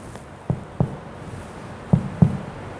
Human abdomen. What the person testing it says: distribusi udara usus yang ada di dalam ee usus itu masih terdistribusi secara normal